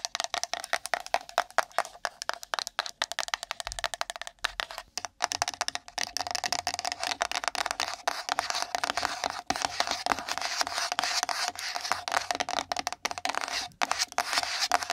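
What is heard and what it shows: A small, empty, pink printed cardboard gift box is tapped rapidly with long nails, first while held and then while resting on top of the microphone. It gives a dense stream of dry, hollow clicks with a steady tone around 700 Hz and bright upper edges. Each click dies away almost instantly.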